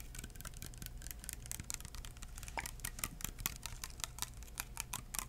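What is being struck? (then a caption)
Small plastic bottle with liquid. Fingertips tap a small clear plastic hand sanitizer bottle with liquid inside and a white cap. The taps are quick, dry, bright clicks in a steady, uneven patter, each dying away almost at once over a constant low hum.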